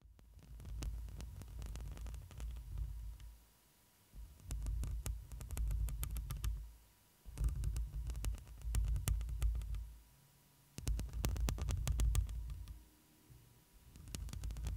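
A hand with long green and black nails scratches and rubs the woven metal mesh grille of a black studio microphone with a hollow head. The sound is a deep, muffled rumble in several loud swells separated by brief quiet gaps, speckled with sharp, bright scratchy crackles and clicks.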